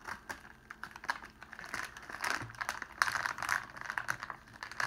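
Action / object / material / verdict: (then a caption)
scrape / clear cellophane sheet / cellophane / none. Fingers pull a crumpled sheet of clear cellophane open and spread it out flat on a table. The result is a quiet, dense stream of sharp, crackling crinkles with little low end, peaking in short bursts concentrated in the upper midrange.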